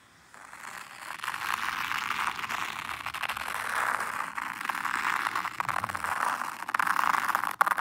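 A small wooden toothed rake is dragged in circles through fine white sand in a black hexagonal zen garden tray. It makes a soft, continuous gritty scraping centered in the midrange, swelling and easing with each pass, with a few sharper crackles toward the end.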